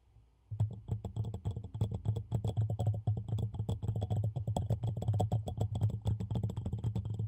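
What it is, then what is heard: Ceramic mug tapped with fingernails. A medium black ceramic coffee mug with a handle and a small printed design, hollow and apparently empty, is held in both hands close to a microphone while fingernails tap rapidly on its sides. After a brief quiet start, a dense, uneven stream of short, dry taps follows, each with a low hollow thump and a faint bright click that dies away almost at once.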